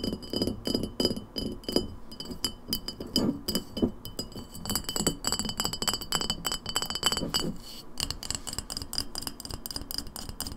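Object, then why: Glass lemonade bottle. An empty glass lemonade bottle is tapped rapidly with long nails on its glass shoulder and base, first standing upright and then tipped on its side. It gives a steady stream of quick, bright clinks with short, high glassy rings over a hollow lower body around 360 Hz. Near the end, the lower resonance thins out.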